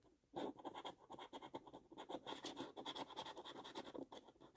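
A coin held in the fingers scrapes the latex panels of a thin, flat cardboard £2 National Lottery "5x £100 Multiplier" scratch card in quick, repeated strokes. It makes a dry, rasping scratch with a bright edge, in short bursts after a brief quiet start.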